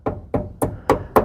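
Five short, dull taps along the rusty steel cab corner of a 1989 Chevy K1500 4x4 truck, each a muted knock that dies away quickly with little ring. The rusty sheet metal doesn't sound the same as good, solid metal.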